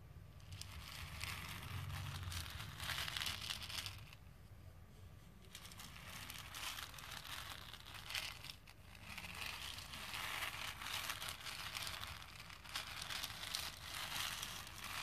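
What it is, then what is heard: Plastic pearl beads stirred in a plastic bowl. Fingertips with painted nails rub and stir a plastic bowl full of small plastic faux pearl beads, producing a dense, bright rattling and clicking that peaks around 3.4 kHz. The clatter swells and fades in uneven waves, dipping quieter between about 4 and 5.5 seconds and again briefly near 8.5 seconds, with a soft low rumble underneath throughout.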